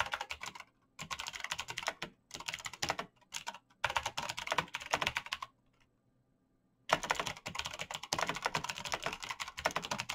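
Fast typing with bare fingertips on a black plastic mechanical keyboard with clicky switches, giving rapid, bright, sharp key clicks in quick bursts. The bursts are separated by short pauses, and a longer silence near the middle is followed by steady continuous typing to the end.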